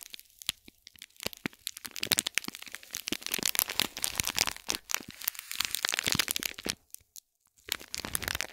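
Long fingernails scratch and tap a small, hollow cube gift box wrapped in shiny gold metallic foil or plastic film and tied with gold cord, resting on a gold plate. The wrap gives off dense, bright, crisp crinkles and sharp crackles with very little low end, coming in quick irregular bursts. There is a brief near-silent pause around seven seconds before the crinkling resumes.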